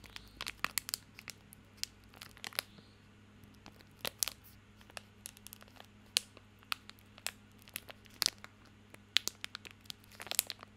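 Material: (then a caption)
Plastic film. A small bar of soap in a crinkly plastic film wrapper is held in both hands while fingertips scratch and crinkle the wrapper. The result is a steady run of sharp, bright, very short crackles and scratchy rustles over a quiet background with a faint low steady hum.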